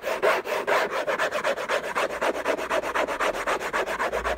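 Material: Cardboard.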